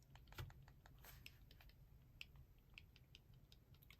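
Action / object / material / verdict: shake / automatic out-the-front knife, metal / metal / loose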